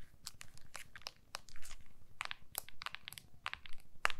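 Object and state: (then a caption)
Smartphone in a clear plastic case. An iPhone in a small, solid, clear plastic case is held upright in both hands while long nails tap and scratch its back. The result is a quick, irregular run of crisp, bright clicks and scratchy ticks that die away almost instantly, over a faint low rumble.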